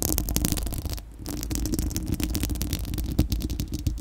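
Long acrylic nails on both hands scratch a bare, hollow, fist-sized spherical steel wire-mesh microphone grille. The sound is a dense, crackly scratching with a heavy low rumble underneath, thin bright ticks on top, and a brief quieter dip around the first second before the steady scratching resumes.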